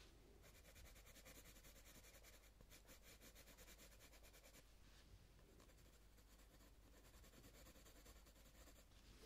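A green coloured pencil is rubbed back and forth over a leaf on a paper colouring book page to shade it. The result is a quiet, steady, bright scratching and rubbing that continues without a break over a low background hum.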